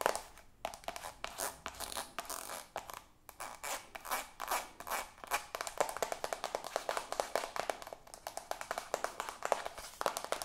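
Long acrylic nails tap fast on a soft white plastic cosmetic squeeze tube, producing a rapid, uneven stream of dry, crisp clicks. The taps are bright with almost no low end and die away instantly with no ring, with a few short pauses between bursts.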